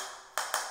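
Two sharp taps on a ceramic floor tile set in thinset that is not yet dry give a bright, clicky sound centered near 1 kHz. Each tap fades quickly. The tile sounds different from solid, fully bonded tiles because the thinset beneath it is still wet.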